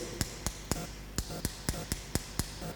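A pen is tapped repeatedly on a wristwatch, giving nine short, sharp clicks with a bright edge and almost no ring. A faint low hum runs underneath. The taps show that the material an object is made of affects the sound it makes.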